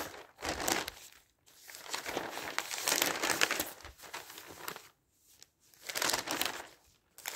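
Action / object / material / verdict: scrape / newsprint newspaper pages / paper / none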